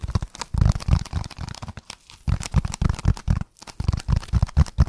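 A dark speckled, roughly brick-sized solid foam block is held in both hands and scratched and squeezed rapidly with fingertips and nails. The result is a dense run of dry, crunchy, crinkling bursts with a heavy low rumble and only brief pauses between them.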